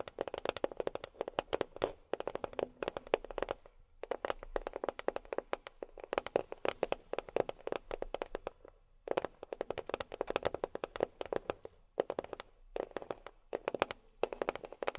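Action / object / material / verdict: tap / cardboard box / cardboard / none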